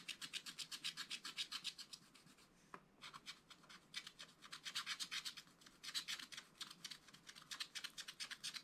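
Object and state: Wax-coated scratch-art paper being scratched.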